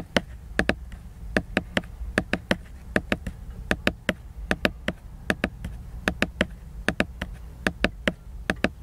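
Fingertips and nails tap on the glossy laminated cover of a solid hardcover book lying flat, giving 33 short, dry, bright clicks in quick irregular clusters. Each tap dies away almost instantly over a faint low hum.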